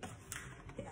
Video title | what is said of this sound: ***VIDEORICETTA LIS CON AUDIO RALLENTATO*** Pane di pasta dura ragusano | se sentite una sensazione abbastanza di vuoto dovrebbero essere pronti